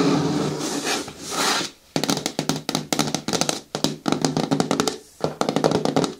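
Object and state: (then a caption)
Plastic bin tapped with nails. Long nails and fingertips work over the side walls of a hollow, hard green plastic bin with a lid. It opens with a couple of seconds of hissy, scratch-like rubbing, then moves into quick bursts of short, hollow, clicky taps with a bright edge. The taps decay almost instantly and are separated by brief pauses.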